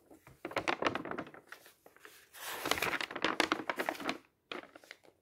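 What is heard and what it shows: A hand grabs several pages of a thin paper booklet of printed tables at once and turns them, making the paper flutter and rustle. Quick, irregular bursts of crisp, bright crinkling sound with almost no low end, with a brief silence before a final few softer rustles.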